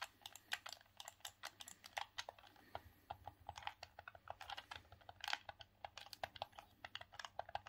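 Thumbs rapidly click the buttons and D-pad of a grey, hollow, hard plastic Sega Saturn hand-held gamepad. The result is a quiet, steady stream of short, dry plastic clicks, each bright with a mid-range snap and almost no ring.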